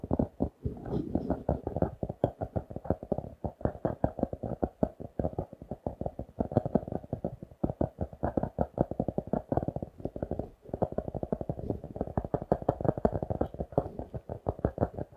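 Fingertips and nails rapidly tap and scratch a notebook with a glossy laminated cardboard cover, held upright. Dense, dry, short clicks and scrapes run continuously for about fifteen seconds, with energy mostly in the low-mid range and almost nothing bright. There are brief pauses near the start and around the middle.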